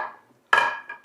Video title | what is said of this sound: Podcast with Vennela Flutes Chilaka Mallikarjuna - Telugu Adda Episode-22 -- Dhatri TV | Steel sound గట్టిగా వస్తుంది. Steel sound మామూలుగా రాదు